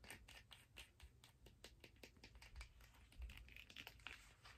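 Long nails scratch and tap along the ridged surface of a turquoise hard plastic skate blade guard held in the hands. Quick, dry plastic clicks mix with bright, scratchy rasps, and each tap dies away almost instantly. The sound stays quiet and close, with a few sharper taps near the end.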